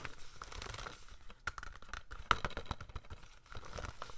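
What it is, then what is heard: Plastic DVD case. A hollow plastic DVD case of The Day After Tomorrow, held in both hands, is lightly tapped and scratched with fingernails. Soft, quiet clicks and scratchy crinkling rustles run through the clip, with a sharper, brighter tap near the middle that dies away almost at once.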